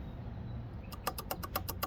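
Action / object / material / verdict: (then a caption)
shake / motorcycle steel brake rotor / steel / loose. A fully floating steel wave brake rotor on a Triumph Street Cup motorcycle is grabbed by hand and shaken. After a low rumble, eight quick, bright metallic clicking rattles sound in rapid succession. The rattle shows the rotor is fully floating rather than semi-floating.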